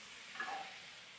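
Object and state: Nothing is struck.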